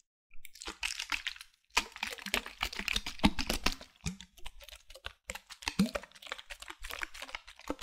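Long nails tap rapidly on the body of a medium-size white opaque plastic bottle with a black cap, held in one hand. The taps come as dense, crisp clicking and crinkly crunching runs, with brief pauses between bursts.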